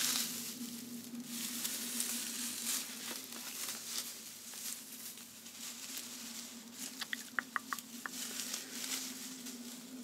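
A light, fluffy length of gold metallized plastic tinsel garland with thin foil strands is shaken, waved and crinkled in hands with long manicured nails. It makes a steady, bright crinkling rustle over a low constant hum. A cluster of sharp, high ticks stands out near the end.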